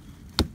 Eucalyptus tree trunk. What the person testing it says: That's the sound you don't want to hear. That's hollow.